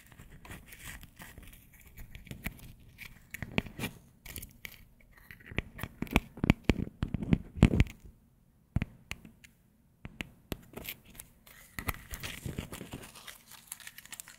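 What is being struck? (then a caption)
Dry wheat biscuit. A single round, flat, dry wheat Maria biscuit, about palm-sized and solid, is held in both hands and snapped apart with fingertips and long acrylic nails close to the microphone. Dense bursts of crisp cracking and crumbling come and go, low-heavy with short dry snaps, pausing briefly near the middle before the breaking resumes.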